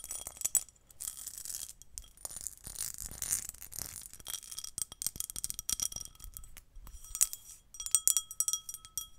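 A small, hollow, empty, pinkish-red cut or pressed glass bowl is held close to the microphone while its patterned surface is tapped and scratched with long painted nails. Bright, rapid clicks and clinks mix with scratchy rasps over the ridged glass. Faint, thin ringing tones linger between the taps.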